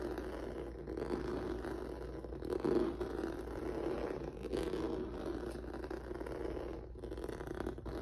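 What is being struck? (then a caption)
Textured rubber mat on a wooden table. Fingertips and nails scratch across a flat black rubber or vinyl mat with a noodle-textured surface resting on a wooden table. The result is a steady, dense rustling scrape, concentrated in the low-mid range around 350 Hz, with a faint low hum underneath. A few slightly louder swells appear along the way, the strongest near the three-second mark.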